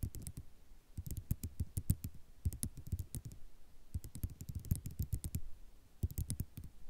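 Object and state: Ceramic mosaic tiles tapped with nails.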